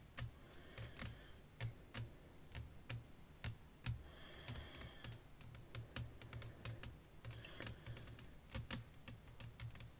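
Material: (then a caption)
Glass. Long nails tap rapidly on a flat, clear glass sheet laid over lace fabric. The result is a quiet, uneven run of sharp, clicky taps, each with a bright, crisp edge and a soft low thud beneath. The taps die away almost instantly, with no ring.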